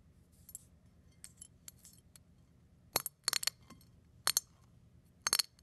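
A fingertip presses and crushes larger brown eggshell pieces lying next to a pile of flakes on a plate. Faint, scattered ticks in the first two seconds give way to several louder, sharp, bright crackles in short bursts. Each crack is dry and dies away almost instantly.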